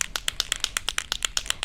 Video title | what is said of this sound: 4 Sweet Cards Using Bouquets & Birds Die-Cuts by Katy Sue Designs | that ball well that is mixing up the pigments that are inside